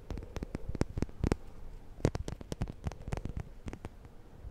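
Fingernails scratch and flick along the teeth of a black plastic comb with a handle, held in one hand. The result is a fast, uneven run of short, dry clicks and soft thuds, mostly low and muffled with a few sharper, brighter snaps.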